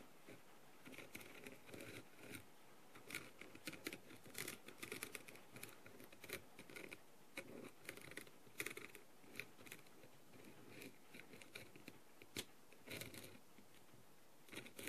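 A green-handled tool with a clear, lit plastic tip scratches and taps over the blue rhinestones covering a small, hollow plastic masquerade mask. Quiet, dense clusters of bright, dry clicks and scratchy ticks come in quick bursts with almost no ring, over a soft low hiss.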